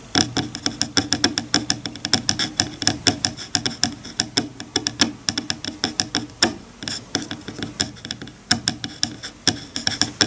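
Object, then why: Bamboo hair comb on a bamboo board. Fingertips run across the teeth of a wide-toothed bamboo hair comb lying flat on a bamboo cutting board, scratching and flicking them. About 55 quick, dry, bright clicks and plucks come in an uneven, rapid patter, each dying away almost instantly, with a faint woody tone underneath.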